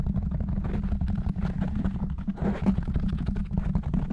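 Fingertips and short nails of both hands rapidly scratch and tap on a large, soft, porous black foam windscreen covering a silver condenser microphone. The result is a dense, continuous muffled rumble, heavy in the low end around 190 Hz, with quick soft thumps and faint brushy texture layered throughout.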